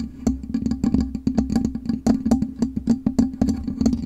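Long nails scratch and tap the black metal mesh grille of a USB microphone. Quick, dry clicks with a bright crackle sit over a steady low hum near 230 Hz, and each tap dies away almost at once.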